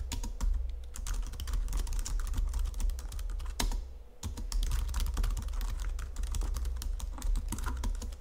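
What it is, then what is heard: Plastic computer keyboard being typed on. Fingertips with long nails type on a white plastic Logitech full-size keyboard under green lighting, producing a fast, steady stream of sharp, clicky key taps. A constant low hum sits beneath the typing, which pauses briefly around the four-second mark before resuming at the same pace.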